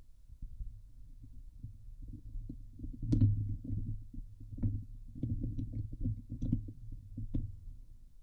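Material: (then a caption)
Steel mesh. Long nails scratch the hollow steel mesh grille of a Blue Yeti microphone, producing a dense, low, boomy rumble of scraping and thumping with occasional sharp, brighter clicks. Midway, the hands briefly move away before the scratching resumes.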